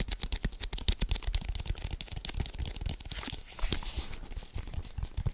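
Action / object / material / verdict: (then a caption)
tap / leather football / leather / none. A full-size, hollow, inflated brown leather American football is held in both hands and rapidly tapped and scratched with fingertips and nails. The result is a quick, dense run of soft, hollow thumps mixed with crisp, bright scratching and crinkling. Each tap dies away almost instantly.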